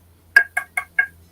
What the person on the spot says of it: it's kind of lower pitch